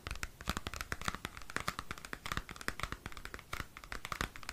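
Fingernails scratch and tap a small square cardboard CD album sleeve. The result is a quiet, dry run of quick crackling scratches and soft taps with papery, bright detail and no ring.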